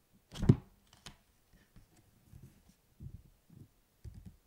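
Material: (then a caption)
Paper, card. The printed card cover of a thick, solid paperback book lying on a table is flipped shut with a soft, dull flap, then tapped and scratched with fingertips and short nails. Quiet, low, muffled taps and brief scratchy rubs follow in small clusters, each dying away almost at once.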